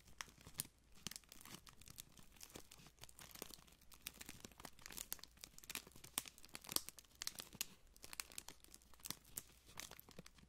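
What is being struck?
Thin clear plastic wrapper strip.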